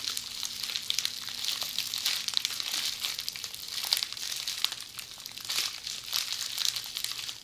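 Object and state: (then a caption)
Plastic bubble wrap. Tightly rolled red plastic bubble wrap is held in both hands and squeezed and scratched by long polished fingernails. It makes a continuous, dense, bright crinkling and crackling, with quick tiny snaps and short scratchy bursts. The sound has almost no low end, and a faint steady low tone sits underneath for the first few seconds.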